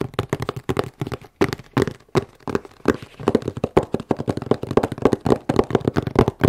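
Long manicured nails tap and scratch a medium corrugated cardboard shipping box with a battery warning label, hollow and closed and held in both hands. About 35 quick, dry, hollow taps land in rapid, uneven bursts. Each has a short, dull mid-low tone that dies away almost at once, with faint scratching between them.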